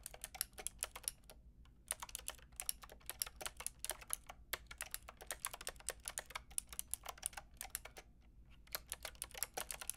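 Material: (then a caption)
Plastic. Fingertips with long red nails type quickly on a Lofree mechanical keyboard with a plastic frame and round keycaps, producing about 60 sharp, bright clicks. The clicks are very short and come in rapid bursts, with brief pauses near 1.5, 4.4 and 8.3 seconds over a low, steady background hum.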